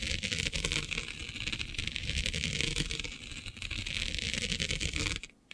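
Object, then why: Plastic mesh sheet. Fingernails scratch and rub across the grid of a flat black iridescent plastic diamond mesh sheet. The result is a dense, continuous, bright rasping scratch with a low rumbling undertone. It cuts off abruptly near the end.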